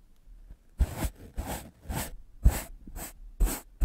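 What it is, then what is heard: Melamine foam sponge being brushed. A white rectangular magic eraser block of solid melamine foam, held in the fingers, is brushed fast with a large soft black makeup brush. Seven quick, breathy brushing strokes in an uneven rhythm give soft, airy swishes with a low thump at the start of each stroke.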